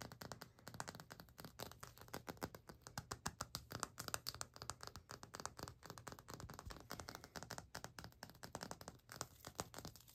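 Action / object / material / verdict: tap / glazed ceramic floor tile / ceramic / none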